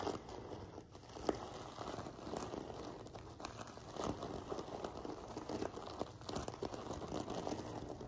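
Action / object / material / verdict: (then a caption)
scrape / fabric pillow covered in flat metal sequins / sequins / none. Fingertips and nails scratch and rub across a soft sequin-covered fabric pillow, a cushion covered in rows of flat silver sequins resting on a table. The result is a quiet, continuous crinkling, scratchy rustle full of tiny clicks and ticks, with small swells in intensity and no clear pause.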